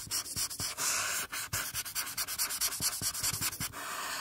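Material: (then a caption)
Paper. A felt-tip marker rubs back and forth across a flat paper coloring sheet on a table, filling in the cheek and forehead area with repeated strokes while the free hand rests flat on the page. The result is a fast series of bright, hissy scratching strokes with short pauses between them and almost no low end.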